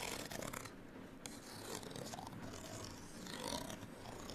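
Long natural fingernails scratch across a small, flat printed paper card hang tag with a gold string, held in one hand. The result is a quiet, steady, dry rasping and scratching texture with bright, papery friction that swells and eases without clear separate strikes.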